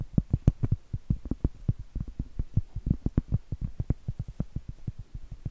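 Long acrylic nails tap and scratch the flat face of a round, solid cork trivet held upright, producing about 30 quick, dull taps across the clip. Each tap is a soft, muffled, low thud that stops almost instantly with no ring, with faint scratching between the taps.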